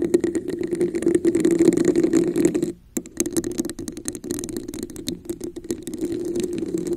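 Long acrylic nails scratch and tap a hollow red textured plastic cup placed over a microphone. Dense, rapid clicks and scraping rasps ride on a steady hollow resonance around 320 Hz. They pause briefly near the three-second mark, then resume with irregular taps.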